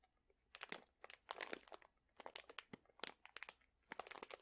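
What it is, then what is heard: Plastic pouch of dried chili peppers. A sealed plastic pouch full of dried chili peppers is crinkled and squeezed with the fingertips. Quiet bursts of crisp, bright crinkling and crunching come in short clusters with brief pauses between them. There is almost no low end, and each crackle stops sharply with no ring.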